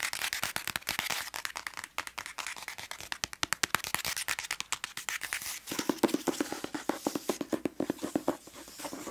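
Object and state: Hardcover book with paper dust jacket.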